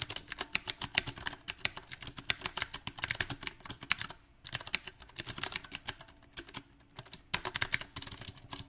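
Fingertips type on a mechanical keyboard with round plastic typewriter-style keycaps on a silver metal frame, producing about fifty bright, crisp key taps that stop almost instantly. The typing comes in uneven bursts, with brief pauses near the middle and toward the end.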